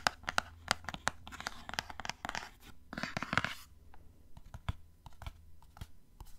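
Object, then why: Small printed cardboard box. Fingernails scratch the glossy surface of a small, hollow, printed cardboard gift box, making a series of sharp, dry clicks and raspy scrapes with a bright, papery edge. Longer rustling scratches run through the middle, then it returns to quieter, scattered taps, over a faint low hum.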